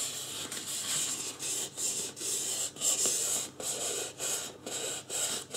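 Fingertips rub and scratch the forehead and sides of a life-size white polystyrene styrofoam mannequin head. Nine bright, hissy scraping strokes come in separate bursts with short pauses between them, and there is almost no low end.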